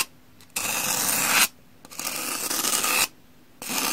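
A metal knife blade scrapes across the cream face of a solid, porous two-layer pumice block held in the hand. Three long, gritty scratching strokes are heard, the last cut off at the end, each a bright, hissing rasp with quiet gaps between them.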